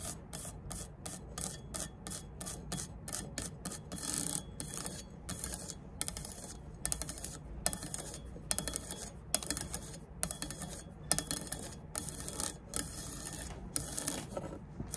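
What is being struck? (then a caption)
Aluminum speed square. Fingernails rub and scratch across the engraved scale ridges of a triangular aluminum rafter square (speed square) lying flat on a table. Quick, bright, rasping scrapes repeat in a steady rhythm over a low, constant background rumble. Each stroke cuts off sharply with almost no ring.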